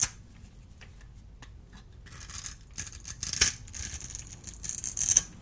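A small metal blade carves a solid, dry, oval blue soap bar held in the hand into small cubes, scraping them off. The result is soft, crisp scraping and crackling, bright and dry, building to sharper crunchy cuts near the middle and the end.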